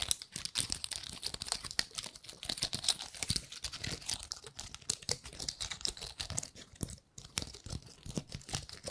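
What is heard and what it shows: Long nails scratch and flick the scales of a gold-painted pine cone up close. A dense stream of dry, bright clicks and crinkly scrapes with very short decays, pausing briefly near the seven-second mark before the ticking resumes.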